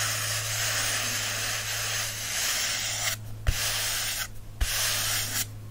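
Fingertips and short nails rub and scratch the glossy card front cover of a solid paperback book with paper pages. The result is a steady, bright, hissing scrape, broken by brief pauses marked by three soft clicks, over a faint low hum.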